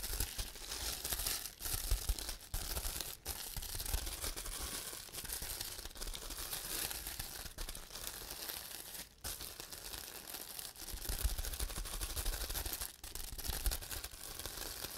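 Fingertips press, pop and rub the small hollow air bubbles on a large sheet of clear plastic bubble wrap, close up. A steady, dense crinkling and crackling fills the clip with bright, hissy texture over a low rumble, broken by brief quiet gaps.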